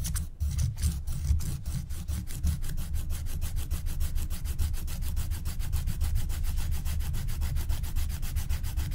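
A wooden stylus scratches the black wax coating along the top edge of a flat, thin scratch-art card in fast back-and-forth strokes, while a long-nailed hand rests flat on the sheet. The result is a steady, rapid rubbing scratch with a low, dull body and many quick, evenly spaced strokes running the whole clip.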